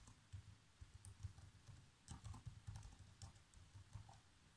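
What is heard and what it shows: Fingertips type on the black plastic keys of a laptop keyboard. The keys give soft, short, dull taps with a low thump and faint bright clicks, coming in quick, uneven bursts with brief pauses between them. The overall sound is quiet and close.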